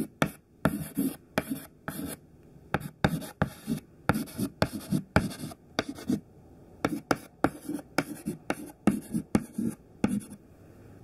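A short, thin piece of white classroom chalk held in the fingertips writes continuously on a black chalkboard. It makes a rapid series of short, dry scraping strokes with a low-mid tone around 210 Hz and a bright, gritty hiss. Each stroke ends abruptly, with brief quiet gaps between them.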